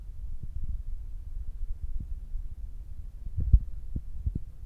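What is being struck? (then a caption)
Foam microphone windscreen. Fingertips with short nails tap on top of the black foam windscreen on a Zoom recorder. The taps are soft, muffled low thumps with almost no ring, repeating irregularly over a steady low hum around 59 Hz, with one slightly sharper tap near the end.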